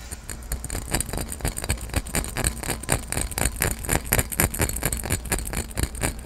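A clear, empty, hollow cut-glass carafe with a diamond pattern and a handle is tapped and scratched quickly with fingertips and nails. Sharp, bright clicks and scratchy glassy ticks come in a fast, uneven stream over a steady low hum.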